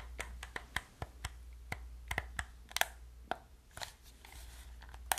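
Long nails click the buttons and tap the body of a hollow black plastic gamepad. About fourteen short, dry, sharp clicks and taps land at uneven intervals, each dying away almost instantly. A steady low hum runs underneath them.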